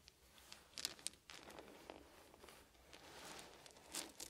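Fingertips rake and gather a pile of small solid wooden beads on a blanket. Quiet, bright clicking and rustling runs throughout, with a few sharper clattering bursts near the start and end.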